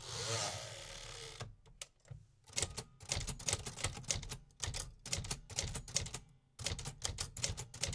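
Fingertips type repeatedly on the round metal keys of a vintage 1950s manual typewriter. A brief steady rushing noise opens the clip, then gives way to bursts of sharp, bright, mechanical clacks with short pauses between flurries.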